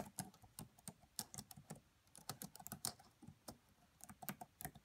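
Fingertips with long nails type on a red laptop with black plastic keys, tapping out about nineteen quick, irregular keystrokes. Each press is a short, bright plastic click with a soft low thud beneath it, and the clicks die away almost instantly between strokes.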